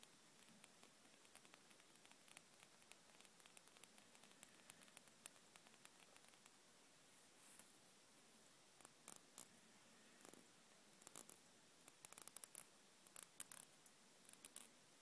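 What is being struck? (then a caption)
Plastic hair dryer casing. Long acrylic nails tap and scratch on the hollow black plastic body of a hair dryer with printed model text and a ribbed red grip section. Quiet, bright, dry clicks and scratchy rustles come in irregular bursts, growing sharper and more spaced out toward the end. Each tap stops at once with no ring.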